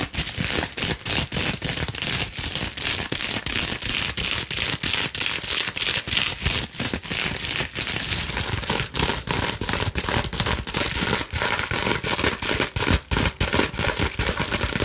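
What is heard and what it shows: A clear plastic bubble wrap sheet is bent and scrunched while long nails scratch and crinkle the bubbles. A fast, irregular stream of bright, dry crackles and crinkling snaps runs at steady loudness throughout, each snap dying away almost instantly.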